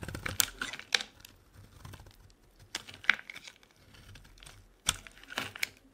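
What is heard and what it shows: A metal blade carves into a solid lilac bar of soap held in the hand, scraping off curls. Crisp, bright scraping and crackling strokes come at irregular intervals, each a short dry burst with quieter crumbly rustling between them.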